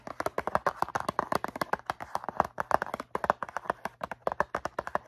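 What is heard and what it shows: Long nails tap quickly on the faces of a rectangular, hollow cardboard cotton swab box filled with swabs. The result is a rapid run of short, dry, papery clicks with a mid-range tone around 800 Hz and almost no ring after each tap.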